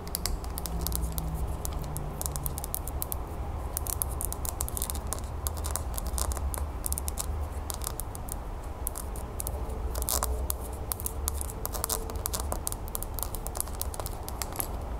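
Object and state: Glass terrarium bowl tapped and scratched.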